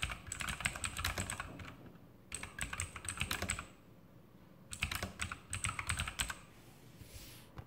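Fingertips of both hands type on an E-Element Sharpshooter X2000 backlit mechanical keyboard with plastic keycaps and Outemu blue clicky switches. Three bursts of rapid, sharp clicks ring out with a bright high click on each keypress and a soft low thock beneath. Short quiet pauses separate the bursts, and each click dies away almost instantly.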